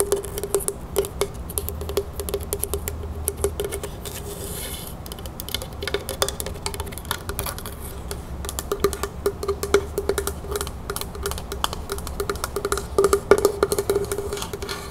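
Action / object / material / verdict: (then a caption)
tap / small wooden box / wood / none. Long nails tap quickly and steadily on the sides and lid of a dark, rough wooden heart-shaped box held in the hands. The result is a dense stream of short, dry clicks with almost no ring and a faint hollow tone around 400 Hz, growing somewhat busier and louder toward the end.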